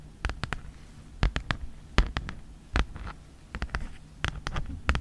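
Long nails and fingertips tap and scratch across a red Mead folder made of thin plastic with a hexagon texture, lying flat. Sharp, dry clicks come in small quick clusters, each with a soft low thud beneath it and almost no ring, separated by faint scratchy rustling.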